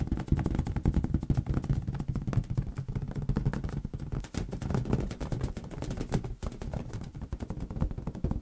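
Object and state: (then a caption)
Inflated latex balloon. Fingertips of both hands tap rapidly on a large, hollow, air-filled green latex rubber balloon held over a white surface. The result is a dense, continuous stream of soft, boomy low thumps that die away almost instantly, with a deep resonant tone and little high-end content.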